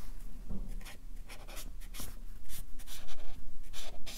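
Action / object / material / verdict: scrape / felt-tip marker on paper sheets on a clipboard / paper / none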